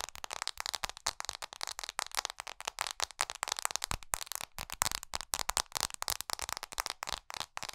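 Long nails tap rapidly across the glass screen and metal edges of an iPhone SE held horizontally without its case. About 39 sharp, dry clicks come in quick irregular bursts, bright with little low end, each dying out at once with no ring.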